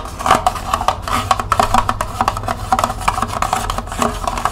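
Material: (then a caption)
Plastic. Long nails rapidly tap and scratch the ridged side and base of a small, hollow, empty green plastic cup held in both hands. The quick, dry clicks have a hollow ring around 1.1 kHz, mixed with brief scratchy swipes over a faint steady low hum.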